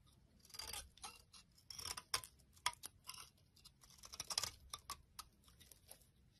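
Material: Soap.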